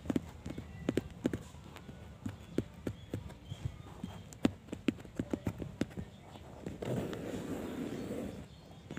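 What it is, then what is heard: Corrugated cardboard sheet. Fingertips and short nails tap quickly on a flat brown corrugated cardboard sheet with hollow flutes at its edge, resting on a white surface. About 26 short, dry, hollow knocks with no ring fill the first seven seconds. They give way to a steady, rougher scratching rasp across the surface before it fades.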